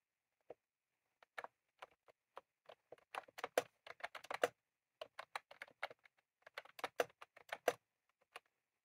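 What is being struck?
Plastic mechanical keyboard with round keycaps.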